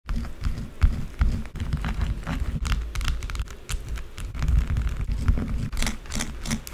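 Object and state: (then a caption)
Bar soap scraped with nails. A small, solid, rectangular white bar of soap resting on a dark table is scraped quickly with long blue acrylic nails, leaving soap shavings. The fast scratching makes a dense, continuous rasp with a heavy low rumble and short bright, crisp streaks, with brief pauses between strokes.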